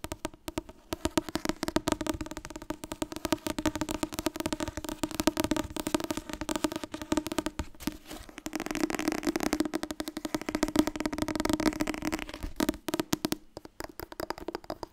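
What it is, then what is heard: Paperback book. Long nails rapidly tap and scratch the back cover and spine of an orange softcover Wasbord dieet book made of solid paper. The result is a dense, fast patter of dry papery clicks and scrapes with a hollow midrange tone around 300 Hz and little deep bass. Brief lulls come near 8 and 13 seconds before a final burst of sharp taps.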